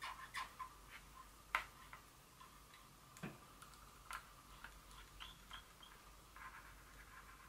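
Long fingernail tips lightly tap a small glass Dior perfume bottle in a quiet, irregular series of crisp clicks. Each tap is short and bright, leaving a faint glassy ring near 1 kHz that hangs softly between hits.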